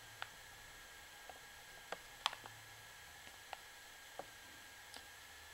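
A long fingernail taps and scratches the plastic surface of a full plastic washing powder pouch, along its side and barcode area. Sharp, quiet, bright plastic clicks and brief scrapes stand out at irregular intervals over a steady hiss, each one dying away almost instantly.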